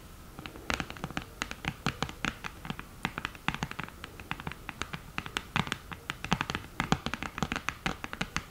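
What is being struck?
Cardboard eyeshadow palette with mirror.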